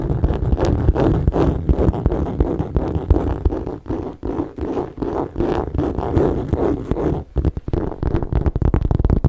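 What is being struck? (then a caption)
Textured leather handbag base. Fingernails and fingertips scratch and tap the base of a hollow gold saffiano leather tote with metal feet. The result is a dense, irregular run of dull, low scratching and soft taps with almost no high end. A brief lull comes near 7 seconds before the scratching resumes more strongly.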